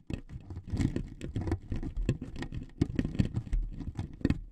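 Two metal needles scrape across the surface of a thin wood veneer sheet laid on two microphones. The result is a dense, continuous run of short, dry scratching strokes with a heavy low thump and bursts of bright rasp.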